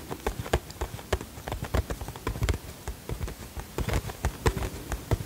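Fingertips and nails tap the sides of a small, hollow printed cardboard box with a flower design, held in both hands. The result is a quick, irregular run of soft, dull taps with a low, hollow thump and almost no ring.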